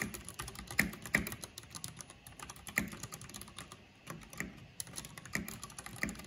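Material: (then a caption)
Plastic. Fingertips with long painted nails type steadily on a backlit plastic mechanical keyboard with black plastic keycaps. Bright, short clicks come in quick, uneven bursts, with a few louder key strikes standing out above the quieter clatter.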